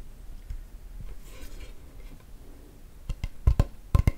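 A large, solid, dark-grained acacia wood chopping board with a handle is held upright while long nails scratch and tap its face. Soft, low scratching and rubbing give way to a cluster of sharp, dry taps near the end, each dying away almost instantly.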